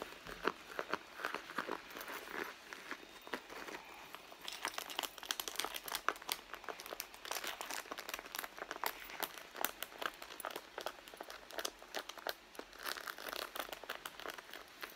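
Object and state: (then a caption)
Leather purse. A medium red pebbled-leather handbag, hollow and soft-sided, lies on a mat while long blue-painted nails scratch and tap its leather surface and seams. Dense, quiet, crinkly scratching mixes with many short dry taps. The sound is mostly mid to high with almost no low end.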